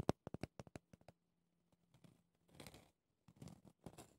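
Red-painted nails tap and scratch a small round pumice stone brush with a clear plastic bristle base, working over the rough pumice top and the plastic edge. A quick run of sharp, dry taps opens the clip, followed by quieter pauses and then bursts of gritty, bright scratching with a faint low hum underneath.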